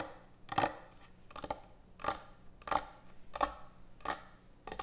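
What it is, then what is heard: Wooden end-grain cutting board tapped with nails. Long acrylic nails and fingertips tap quickly on a large, thick, solid wooden end-grain butcher block cutting board resting on a counter. The sound comes in short, irregular clusters of dull, woody clicks with a mid-range knock and a bright edge, and each one dies away almost instantly between bursts.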